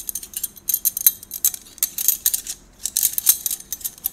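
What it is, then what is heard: Metal drinking straws clinking together. A bundle of hollow gold stainless-steel drinking straws is held in both hands and rolled and shaken together. The straws clink against each other in quick, bright, high-pitched bursts that stop almost at once, coming in uneven clusters with brief pauses between them.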